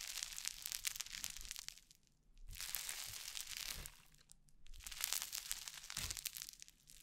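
Orange crunchy foam-bead slime (floam) is squeezed and pressed between palms and fingers close to the mic, giving three bursts of dense, bright crackling and crunching separated by brief quiet pauses. The sound is mostly high, fizzy popping with little low end.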